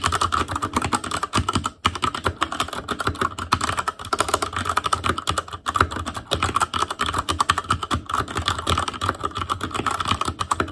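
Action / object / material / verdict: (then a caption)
tap / mechanical keyboard with plastic keycaps on a metal frame / plastic / none. Fingertips of both hands type continuously on an ASUS ROG Claymore Core mechanical keyboard with Cherry MX Red switches, black plastic keycaps on a metal frame, and a hollow housing with RGB backlight. A rapid, steady stream of short, sharp plastic clacks rings around 1.3 kHz over a soft low thump. Each keystroke dies away almost instantly, with only brief gaps in the rhythm.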